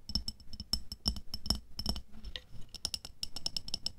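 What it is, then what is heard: Glass jar filled with water beads. Long nails tap quickly on the sides of a medium clear glass jar with a black lid, full of red water beads and resting on white fur. The result is a fast, uneven run of short, bright glassy clicks with a faint high ring, each backed by a soft low thud, with a brief lull in the middle before the tapping picks up again.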